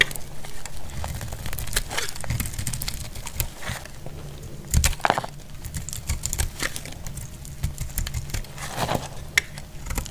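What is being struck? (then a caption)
Soap bar cut with a metal blade. A dry, solid red soap bar held in the hand is cut with a metal blade. A steady run of dry crackling, crumbling scrapes comes through, dotted with short bright clicks and dull low thuds as pieces give way.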